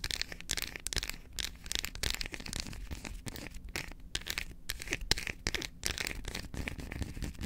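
Long acrylic nails rapidly tap and scratch the face and edges of an unwrapped solid dark chocolate bar held in both hands. The result is a dense, continuous stream of crisp, bright clicks and dry scratching with very short decay, over a faint low hum.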